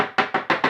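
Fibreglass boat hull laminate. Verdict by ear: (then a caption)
Solid. A fibreglass boat hull laminate is tapped in a steady series with a metal-ended stick. Each tap gives a short, bright, dry knock with little ring, the sound of solid, well-bonded glass, in contrast to a detached area.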